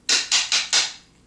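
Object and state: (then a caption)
Crystal pendulum tapped on a hard surface. A crystal pendulum is tapped four times on a hard surface, giving short, bright clicks with a high ring that fades quickly after each tap. The tapping is done to clear the crystal's stored "memory."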